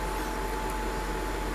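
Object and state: Nothing is struck.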